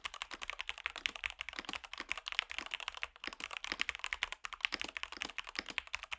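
Fingertips type on a compact Rexus Daxa M64 Ultimate wireless mechanical keyboard fitted with white and grey PBT plastic keycaps on a white plastic case, first with one hand and then with both. The result is a rapid, steady run of short, dry, bright clacks centered around 2.7 kHz, with almost no low end and no ring after each keystroke.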